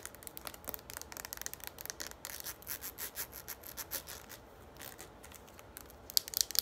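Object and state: Plastic pump bottle tapped and scratched with nails.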